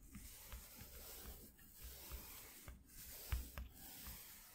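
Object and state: Corrugated cardboard sheet being brushed.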